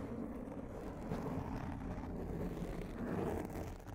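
Long painted nails scratch a large, rounded black foam windscreen on a microphone, mostly with one hand at the side. The result is a continuous, muffled, low scratching rustle with no bright edge, holding a steady level throughout.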